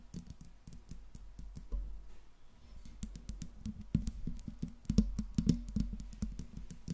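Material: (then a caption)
Metal. Long pink nails tap rapidly across the smooth metal body and grille of a silver Blue Yeti microphone. The quick, clicky taps land with a dull, low thud and a faint low hum, each fading almost at once.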